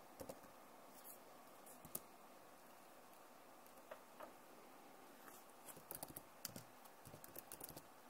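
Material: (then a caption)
Plastic. Long nails tap the keys of a backlit plastic laptop keyboard as fingers type on it. Quiet, sharp, bright clicks come in scattered bursts over a steady low hiss, each one dying away almost at once.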